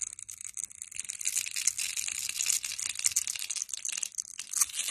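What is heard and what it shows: A metal blade scrapes along the surface of a hand-sized, solid red translucent glycerin soap bar that is pre-scored in a grid and held in hand, shaving off small cubes. After a quieter first second, a dense, bright crackling scrape continues throughout, made of rapid tiny crunches with almost no low end.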